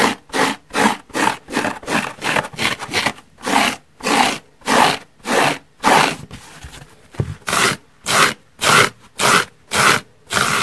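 Long nails scratch a large yellow porous foam car sponge resting on a wooden table, first across its surface and then along its side edge. About 17 rhythmic, bright, raspy strokes are heard, with a softer, continuous rustle partway through before the strokes resume with a sharper, squeakier tone.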